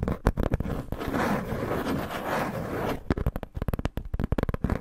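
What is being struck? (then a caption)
Corrugated cardboard sheet. Fingertips and long nails scratch and rub across a flat, irregularly cut, hand-sized piece of thin brown corrugated cardboard held upright in front of the recorder. A few sharp scratches give way to about two seconds of steady, grainy rubbing, then a quick run of short, crisp scratches. The sound is close and dry, with a papery rasp over a low, heavy body.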